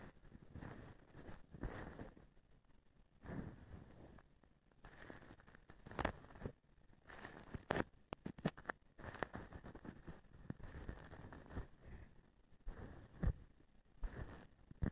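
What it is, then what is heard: Plastic duster strands scratched and flicked. A blue plastic-strand feather duster is held upright while a small thin stick and fingers scratch and flick its strands. The sound is quiet, dry rustling and scratching in uneven bursts, punctuated by sharp, brief flicks and crackles with almost no ring.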